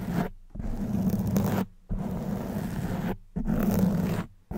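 Long white nails scratch the soft black foam windscreen on a silver condenser microphone, producing close, muffled, rumbling scratching in repeated passes separated by brief silences. The sound is dense and low-heavy, with a steady hum-like tone around 180 Hz.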